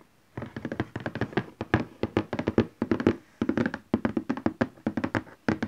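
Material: Cardboard.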